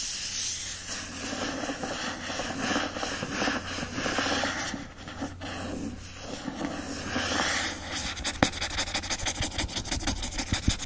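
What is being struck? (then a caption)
Hardcover book with paper-covered board cover. Fingertips and nails rub and scratch the printed paper-covered board cover of an Anne of Green Gables hardcover, first the front cover and then the back. A steady, breathy rasp of scratching strokes runs throughout over a faint low hum, turning into quicker, sharper scratches with crisp bright edges near the end.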